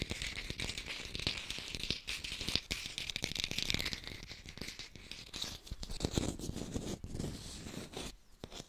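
Fast tapping on an artificial pear, recorded in high fidelity. A dense stream of quick, dry taps with a crinkly, scratchy texture and bright edges. Each tap dies away almost at once, and the tapping keeps an uneven, steady pace throughout.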